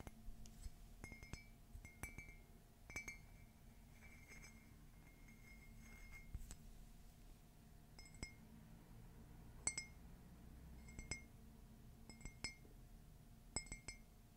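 An empty, hollow white glossy ceramic "Meet me under the Mistletoe" coffee mug, held by its handle, is tapped with long fingernails. The taps come as quick, scattered clusters of bright, glassy clinks, each with a brief ringing tone near 2 kHz and higher overtones. The ring dies away almost at once over a steady low background rumble.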